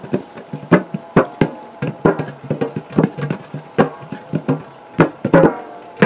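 A large, round, purple printed metal biscuit tin, hollow and apparently empty, is held in both hands and tapped with the fingertips, first on its side and then on its gold metal base. About twenty quick, dull, hollow taps ring low around 180 Hz, each fading fast, with a few sharper, louder knocks among softer ones.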